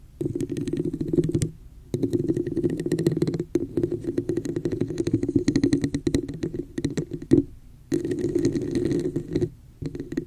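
Long nails rapidly tap and scratch the sides of a hollow red plastic cup with a raised pattern, inverted over the mic. The result is a dense, muffled, hollow patter with a low resonant tone, broken by a few brief pauses.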